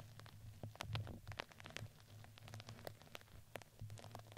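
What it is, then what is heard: Fuzzy fabric ring brushed with a plastic brush. A red fuzzy crinkly fabric ring fitted around a microphone head is brushed with a plastic spoolie brush. Soft, fuzzy scratching and quick crinkly crackles come in a steady run of short strokes over a constant low hum. Each stroke is brief and dry, with no ringing afterward.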